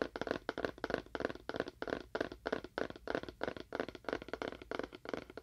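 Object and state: Hollow cardboard box.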